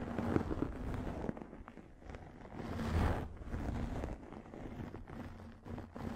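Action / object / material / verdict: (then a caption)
scrape / microfiber makeup remover pad / microfiber / none. A pink, fluffy microfiber makeup remover pad held over the microphone is scratched with long nails. The result is a muffled, low, rumbling rustle with uneven scraping strokes that swells in the middle and fades back down.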